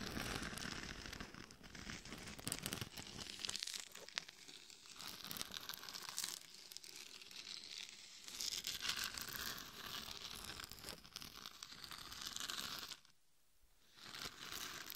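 Long nails scratch the sides and top of a hollow, glitter-covered mannequin head microphone. The result is a dense, bright, crackling scratch with a rough, tearing texture and little low end. It continues almost without a break until a short quiet gap near the end, then resumes.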